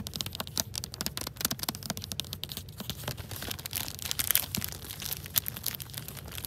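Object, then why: Hardcover book in a plastic library jacket cover. Long acrylic nails scratch and crinkle the glossy clear plastic protector wrapped over the dust jacket of a solid, medium-sized hardcover book held in both hands at a library shelf. A dense run of quick, bright crinkles and sharp scratching clicks rises and falls in intensity over a soft low rumble.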